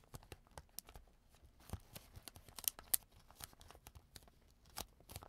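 A clear plastic zip bag on a table has its zipper pulled open and pressed shut with fingertips. A quiet, rapid series of about fifteen sharp, bright clicks and crinkly snaps sounds, each dying away almost instantly.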